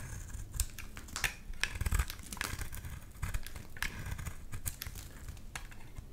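A utility knife blade shaves long curls off the face of a solid lilac bar soap held in the hand. It makes a steady run of dry, crinkly scraping with many short, bright ticks over a low rumble.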